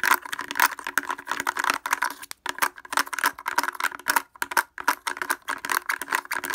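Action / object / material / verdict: tap / plastic speaker housing tapped with wooden clothespins / plastic / none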